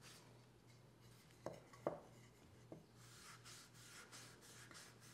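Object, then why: Wooden cooking spoon. A folded oiled cloth held in the fingers rubs the bowl and handle of a long, solid wooden cooking spoon lying flat on a fabric mat. Soft, bright rubbing is broken by three light, short knocks, then settles into a steady run of rhythmic swishing strokes over a constant low hum.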